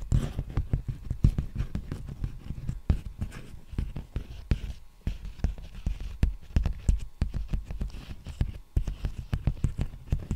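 Fingertips tap and scratch an empty, large black poly bubble mailer envelope held close to the microphone. The result is a dense, uneven run of short, dry, low thumps and soft crinkly scratches that fill the whole stretch with brief pauses.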